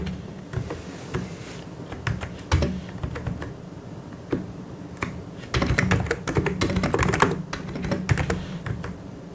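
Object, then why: Plastic mechanical keyboard. Fingertips of both hands type on a full-size white and grey plastic mechanical keyboard with Korean keycaps. The repeated key taps sound thocky and low, with a steady low hum underneath. The typing comes in scattered bursts, growing denser and louder near the middle before easing off.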